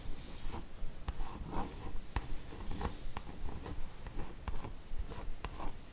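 Long acrylic nails tap and scratch across the glossy top of a large printed cardboard slipcase box, full of the Harry Potter book set and lying on a table. Soft, dry scratching sweeps with faint bright hiss are broken by light, sharp, quick-fading taps at a fairly steady pace, all at a quiet, close level.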